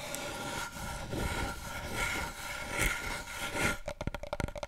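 Long nails and fingertips scratch across the top of a long, hollow brown cardboard paper roll tube held horizontally, making a steady dry rasping with a hollow resonance. Near the end the scratching gives way to several quick, hollow taps on the tube.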